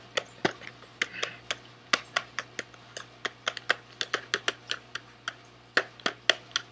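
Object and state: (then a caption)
Cardboard candy box. Quick fingernail taps land on the face of a small SweetTarts cardboard candy box held close. There are 26 sharp, dry, bright clicks in an uneven rhythm, each dying away almost instantly, over a faint steady low hum.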